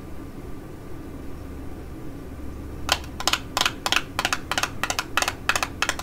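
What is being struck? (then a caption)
Small printed cardboard box. A small, hollow, rectangular printed cardboard ID.AZ Face Fit Lip Fit-ler box with the product inside, held in the fingers, is tapped and scratched on its faces with long acrylic nails. After about three seconds of quiet low hum, a quick, uneven run of about a dozen crisp, bright, clicky taps follows, each dying away almost instantly.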